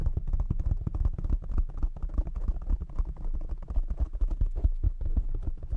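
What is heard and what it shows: Fingertips of both hands tap rapidly on a black foam windscreen covering a desk microphone. The result is a dense, continuous stream of muffled, deep thumps, centered around 70 Hz, each dying away almost instantly, with no bright or high content.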